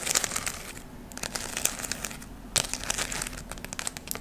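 A round ornament of glittery gold, red and brown artificial fabric leaves is held close to the microphone and scratched and squeezed with long nails. It makes a dense, bright crinkling and crackling, with sharp scratchy clicks and a few louder crunches over a faint low hum.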